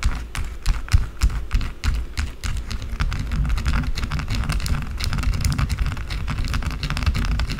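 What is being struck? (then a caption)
Bar of soap scratched with fingernails. Long blue acrylic nails scratch fast across a small solid white bar of soap sitting in a ring of shavings. A dense run of quick, dry scratchy clicks sits over a heavy low rumble, with faint bright crackle at the top.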